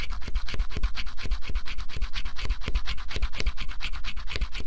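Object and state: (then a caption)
Scratch-off cardboard puzzle. A stylus scratches the black coating off a flat scratch-off cardboard jigsaw puzzle in quick, fairly steady back-and-forth strokes, almost three per second. Each stroke gives a dull low thump under a dry, bright scraping rasp, and the coating is scraped away.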